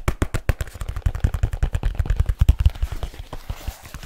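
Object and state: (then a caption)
Leather case tapped. Fingertips tap fast and hard on the cover of a large black leather folio case held flat in front of the face. About two dozen quick, dull, low thuds land in a rapid run, each dying almost instantly. The taps grow softer and lighter toward the end.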